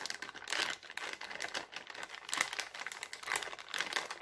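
An empty, thin, clear heart-printed cellophane bag is pressed by a palm and then crumpled by fingers. The result is dense, bright crinkling and crackling that swells and fades in waves, with almost no low end and very short, dry snaps.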